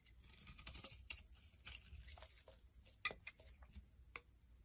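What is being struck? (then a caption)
Bar of soap scraped with a metal blade. A metal blade scrapes and chips a solid rectangular pink and orange bar of soap, shaving off many flakes. Quiet, bright, crisp scraping and crackling runs throughout, broken by a few sharper snaps, the loudest near the three-second mark.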